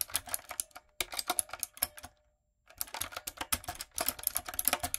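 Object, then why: Plastic mechanical keyboard. A full-size, hollow-bodied, typewriter-style plastic mechanical keyboard with round plastic keycaps and a backlight is typed on with fingertips and long coffin acrylic nails. Rapid, bright, clacky key taps come in bursts, with a brief silent pause partway through. Each click is dry and short, with little low end.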